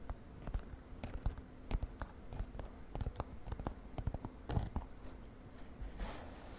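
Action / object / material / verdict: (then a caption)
tap / glittery synthetic fabric makeup pouch / synthetic fabric / none. A mint-green glittery synthetic fabric makeup pouch is held while long nails scratch and tap across it. The result is a quiet, uneven run of short, dull taps with low, muffled body and soft scratchy rustling between them. Near the end, a brief brighter swish rises.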